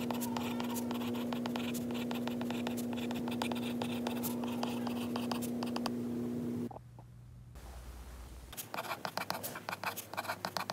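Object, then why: Glass tablet screen with a stylus. A white stylus, held by fingers wearing a ring, writes notes on a glass iPad screen with quick, dense tapping and scratching over a steady low hum. Around the seven-second mark the sound drops to a quiet hush, then sharp, distinct taps and scratches on the glass resume toward the end.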